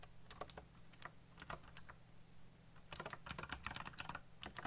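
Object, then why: Plastic mechanical keyboard. Fingertips type fast on a colorful backlit mechanical keyboard with black plastic keycaps, giving sharp, bright clicks over a steady low hum. A sparse run of keystrokes pauses briefly in the middle, then a denser, quicker burst of typing follows.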